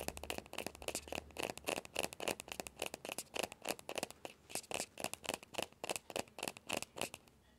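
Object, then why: Small hollow plastic ball. Fingertips and nails scratch and tap the shell of a small hollow orange plastic ball with a yellow stripe. Quick, irregular bursts of dry, bright scratching and tapping come at about three to four per second, each stopping short with no ring and a hollow midrange tone.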